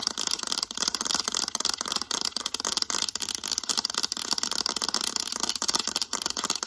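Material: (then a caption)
Plastic. Long acrylic nails rapidly scratch and tap the back of a mint-green hard plastic calculator. The result is a dense, continuous stream of bright, crisp clicks and scrapes with almost no low end, each tap dying away instantly.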